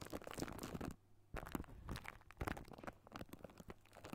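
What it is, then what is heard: Metal microphone mesh grille. Fingertips of both hands scratch and tap a hollow silver wire-mesh metal microphone grille, making dense crunchy, crackling scrapes and soft taps with a low boomy body. The sound falls nearly silent for about a third of a second near the one-second mark before the scratching resumes.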